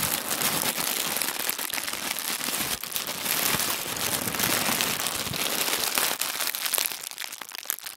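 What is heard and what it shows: Fingers roll up a thin white tissue paper sheet on a wooden table, producing a dense, bright crinkling and crackling with almost no low end. The rustle stays fairly steady, then thins toward the end with a few sharper crackles.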